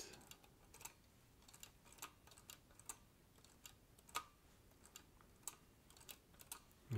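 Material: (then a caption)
Metal. Fingertips press the keys of a green vintage Olivetti Lettera 32 portable typewriter with a metal body. Irregular, quiet typing produces sharp, bright clicks that die away almost instantly, and a louder low thump comes right at the end.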